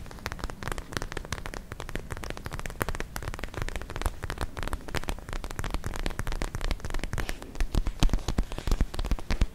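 A palm-sized, soft, clear purple plastic ice pack filled with gel and glitter beads is held in both hands and scratched and tapped with long nails. The result is a dense, steady stream of quick, crisp ticks and scratches that patter like rain over a soft, low, squishy thump. The taps grow louder and more distinct toward the end.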